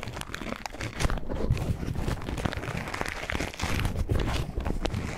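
An empty white paper tea filter bag is crinkled, folded and rubbed between the fingertips. It makes a steady run of dry crinkling and rustling with many small crackles that swell and fade in loudness throughout.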